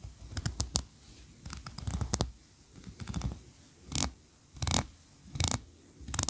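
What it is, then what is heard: Wax candle scratched and tapped. Long nails scratch and tap the tiered ridges of a solid white, ribbed, tree-shaped wax candle standing on a carpet. Irregular bursts of dry, bright scraping alternate with soft low taps, separated by brief quiet pauses.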